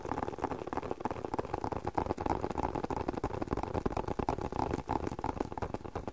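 Fingertips tap rapidly and steadily on a closed, hand-sized, hollow black leather spectacle case. The result is a soft, muffled patter of dull knocks with a hollow mid-range tone around 870 Hz and almost no high brightness. Each tap dies away almost instantly.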